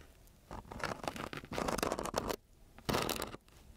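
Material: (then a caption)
Sandpaper. A metal key with a green head is dragged across a flat sheet of coarse-grit, paper-backed sandpaper lying on a solid table, producing dry, gritty scratching. The rasping comes in uneven bursts of strokes with a longer scrape in the middle and a loud final pass, with brief quiet gaps between them.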